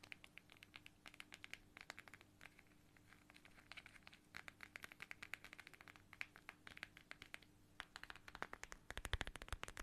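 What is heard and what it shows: Long nails scratch and tap a small, flat, transparent plastic pouch shaped like a watermelon and filled with red gel beads. Quiet, rapid, bright clicks and crinkly scratches fill the clip over a faint steady low hum, growing denser and louder near the end.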